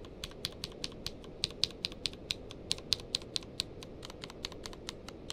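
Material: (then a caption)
Plastic. Fingertips of one hand type across the keys of a grey-blue tenkeyless mechanical keyboard with plastic keycaps. The result is a steady run of separate, short, bright clicks with high peaks over a quiet low background, each click dying away almost instantly.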